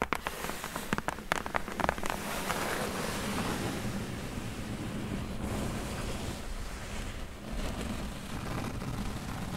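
Long nails tap and scratch across the flat top of a closed, hollow corrugated cardboard box. It opens with a run of quick, dry taps, then settles into a steady, papery scratching rustle that lasts to the end.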